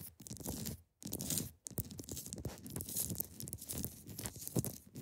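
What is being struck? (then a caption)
Block of ice. Long pointed nails scratch across the top of a large, solid, clear ice block resting on a fabric surface. The result is dense, crackly, tearing scrapes with a bright hiss over a low body, broken by two brief pauses early on before the scratching resumes steadily.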